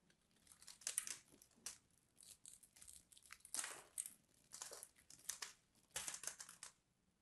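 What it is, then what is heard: Bar soap being scraped. A solid purple bar soap held in the hand is scraped with a craft knife, making flakes crumble away. Quiet, bright crackly scraping comes in short bursts with pauses between them. The sound is almost entirely high-frequency crunching with very little low end.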